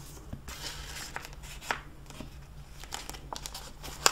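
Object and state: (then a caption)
Plastic-jacketed hardcover book crinkling. Fingertips with long nails press and rub the pages of an open hardcover library book lying on a desk and flip its clear plastic jacket cover. The result is a steady bright crinkling and rustling of plastic, with about seven sharp ticks and crackles rising above it. The loudest crackle comes at the very end, over a faint low hum.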